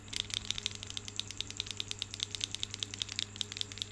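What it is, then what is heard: Marble grape cluster shaken, stones clacking. A cluster of solid marble stone grapes is dangled by its stem and shaken, and the grapes knock against each other. The result is a rapid, uneven run of sharp, bright clicks that die away almost instantly, over a faint steady low hum.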